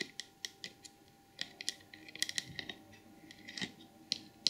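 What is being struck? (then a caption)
Glazed porcelain elephant trinket box. Long acrylic nails tap and scratch the glazed head, ears and trunk of a small, hollow, white glazed porcelain elephant figurine box with a painted red and gold lid. About fourteen sharp, bright clicks ring out at irregular intervals, each dying away almost instantly, with soft scratchy rustling between them over a faint steady hum.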